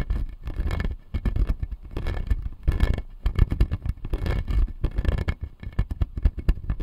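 Fingernails scratch and tap the blue plastic teeth on the lower jaw of a clear acrylic dental model. A dense, fast stream of dry scratches and short clicks comes through, heavy in the low end with little ring after each tap.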